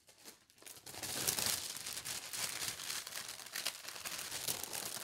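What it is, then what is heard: Tissue paper sheet being rubbed. Fingertips with long red nails smooth and rub a large, thin, translucent white tissue paper sheet printed with pink hearts, spread on a table. Soft, bright crinkling and rustling rises from near silence into a steady, irregular stream of papery crackles.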